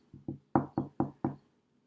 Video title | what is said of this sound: 7th Grade 3 18 | if I knock on the table, I think you can hear that. I'm vibrating the molecules in the table, therefore creating a sound wave.